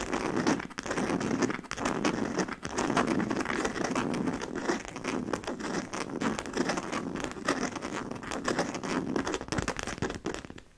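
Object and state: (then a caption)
Coated canvas handbag. Long nails on both hands tap and scratch the front panel of a medium-sized, hollow black DKNY monogram coated-canvas handbag with leather trim and metal buckles. The result is a dense, continuous crinkling and crackling texture with quick dry taps, mostly in the low midrange. It fades out at the very end.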